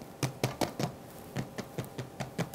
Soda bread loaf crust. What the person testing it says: I just want to tap on it so you can hear the lovely crust that's been created